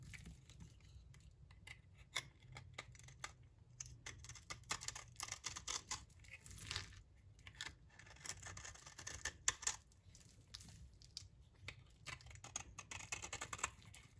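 A utility knife blade scrapes across the surface of a solid, dry yellow bar of soap. The result is quiet, dry, bright scraping and crackling, made of many short crisp bursts over a faint low rumble.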